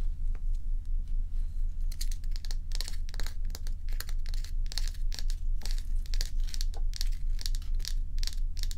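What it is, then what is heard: Block of ice scratched with fingernails. Long nails scratch the frosted surface of a large, bowl-shaped solid ice block held on its side close up. Short, crisp, rhythmic scratching strokes come roughly twice per second over a steady low hum.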